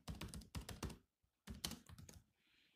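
Fingertips of both hands type on the low-profile plastic chiclet keys of a grey metal-bodied laptop. Quick bursts of clicky, thumpy keystrokes with a low body come in two runs separated by a brief pause. The typing trails off into a faint high hiss.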